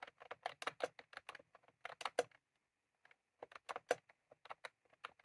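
Fingertips of both hands type on a white/cream plastic computer keyboard with round typewriter-style keycaps, resting on a desk. Quick, uneven bursts of short, dry plastic clicks with a midrange body and a bright edge pause for about a second, then resume. Each tap dies away almost instantly.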